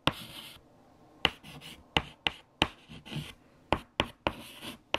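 White chalk held in the fingertips writes equations on a large, flat black chalkboard. Nine sharp, bright taps stand out, each followed by short, dry, high scratching strokes. Brief quiet gaps separate the strokes.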